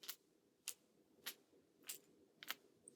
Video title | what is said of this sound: Know The Differences In Rattles To Increase Your Bass Fishing Success! | if I just turn the bait, this big piece is just flopping from the side to side